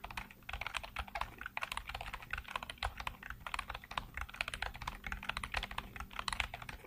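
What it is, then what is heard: Plastic computer keyboard. Fingertips type fast on a black plastic computer keyboard with hollow keycaps, producing a dense, continuous stream of short, bright plastic clicks and clacks. Each keystroke dies out almost instantly, over a faint steady low hum.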